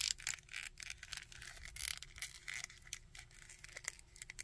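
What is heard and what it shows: Fingertips scratch and rub the coat of a small plastic Red Skull action figure and move its limbs. The result is a quiet, dense run of bright, dry scratching and crackling, with quick clicks as the limbs shift.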